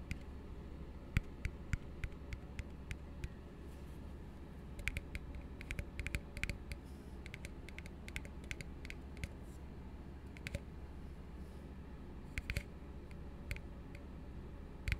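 Fingertips tap on an empty, hollow blue plastic tumbler held upside down, making quick, light clicking taps with a bright edge and almost no ring. The taps come in irregular bursts and scattered single hits over a steady low hum.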